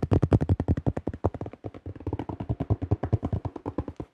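Fingertips of both hands tap fast on the thin shell of a yellow plastic disc golf disc with a blue stamp. About 36 quick, dull, low thumps run in a steady rapid patter, each dying away almost instantly with no high ring. They are loudest in the first second and slightly softer after.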